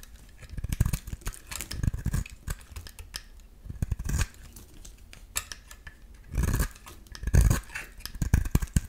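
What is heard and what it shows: A solid translucent green bar of soap, held in the hand, is shaved into thick curls with a metal utility-knife blade. Irregular crisp scraping and cutting strokes mix with soft low thuds, with longer, louder shaving passes near the end.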